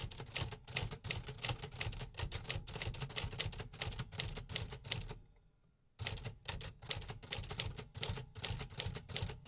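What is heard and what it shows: Fingertips type continuously on the black keys of a vintage 1950s beige metal Remington typewriter resting on a wooden desk. Rapid, irregular mechanical clacks with a bright, sharp attack and a low thump underneath fill the clip. The typing stops briefly for about a second near the middle, then resumes at the same pace.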